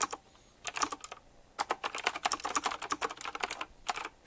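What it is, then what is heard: Mechanical keyboard being typed on. Fast fingertip typing on a retro typewriter-style mechanical keyboard with round plastic keycaps set in chrome rings. Dense bursts of sharp, bright clicky keystrokes come in quick runs, separated by brief pauses near the start and toward the end. Each click is short and dry, with almost no low end.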